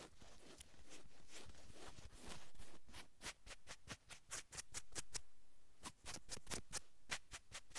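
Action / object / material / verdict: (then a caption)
scrape / cotton sweatshirt fabric scratched with long nails / cotton / none. Long acrylic nail tips rapidly scratch navy cotton sweatshirt fabric stretched over a man's shoulder blades. A dense, continuous bright scratching for about three seconds breaks into quick, separate rasping strokes with short pauses between them, over a faint low rumble.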